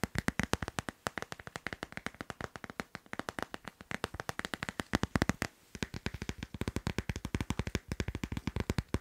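A glossy, teal-patterned hard plastic phone case on a phone, held in the hand, is tapped quickly with fingertips and nails. The result is a dense, fast run of short, dry clicks and taps, about 75 in nine seconds, with a slightly uneven rhythm.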